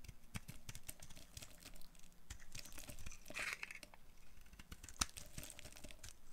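A solid, dry rectangular green bar of soap held in the hand is shaved and carved with a green-handled utility knife blade. Dry scraping and brittle, crinkly flaking sounds repeat in quick, uneven strokes with a dull low rumble beneath, and one sharp, bright snap stands out near the end. The shavings come away in crisp, short bursts with almost no ring.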